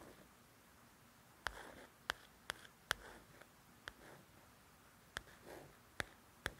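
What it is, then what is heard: Paperback coloring book cover scratched with a fingernail. About nine sharp, bright clicks near 1.5 kHz, each dying at once, with faint dry rasps of scraping in between. A fingernail working over the glossy cover of a softcover coloring book; thin card over pages gives no ring. Quiet small room.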